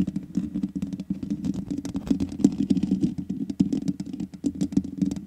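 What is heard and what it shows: Long nails rapidly tap and scratch the black metal mesh grille on the hollow head of a large USB condenser microphone. The result is a dense, uneven patter of dry clicks with bright crackling edges over a steady low hollow rumble. Each tap dies away almost instantly.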